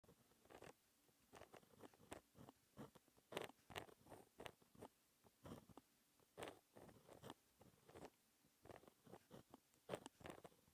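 A fine-tipped pen with white ink, held by fingertips, writes a math formula in small strokes on a flat, thin sheet of black textured paper lying on a solid desk. Short, dry scratching strokes come in quick clusters separated by brief pauses, with a bright papery edge and a midrange body. The clip is quiet and close, with no lingering ring.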